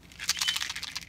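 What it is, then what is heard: Small plastic container of rabbit treats being shaken. A small plastic restaurant container, filled to the top with rabbit snack pieces and closed with its lid, is shaken to call a rabbit, who comes running when he hears it. The pieces make a quick, bright, dry rattle of clustered clicks centred around 3 kHz, with almost no low end.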